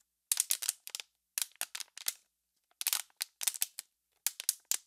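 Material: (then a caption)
Plastic. An empty, hollow, clear plastic water bottle is squeezed and crackled with fingertips and long pink nails. Sharp, bright crackles and clicks come in four quick clusters with silence between them. Each snap is dry and dies away almost at once, with no low end.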